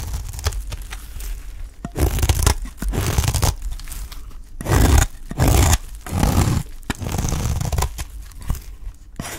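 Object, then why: Olive-oil soap bar cut with a knife. A utility knife cuts and scrapes shavings off the side of a dry, solid green olive-oil soap bar held in the hand. The result is a series of rough, crunchy scraping and tearing strokes, some long and loud and others short and soft, with a heavy low rumble and a faint bright hiss.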